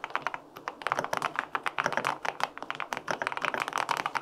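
Fingertips type steadily on the plastic keycaps of a white-pink full-aluminum 65% mechanical keyboard with linear switches. The result is a rapid run of short, crisp clacks with a bright edge, each dying away almost instantly.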